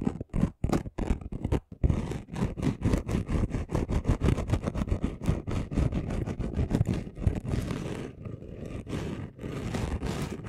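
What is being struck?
Chunky glitter sheet.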